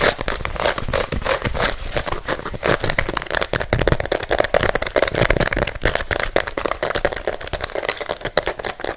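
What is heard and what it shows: Fingernails scratch and tap aggressively on the rubber sole and fabric upper of an empty pink and white sneaker, held in one hand and turned toward the mic. The result is a fast, continuous stream of dry, crackling scrapes and short taps with a hollow, mid-pitched body around 600 Hz and bright edges. Each hit dies away almost instantly.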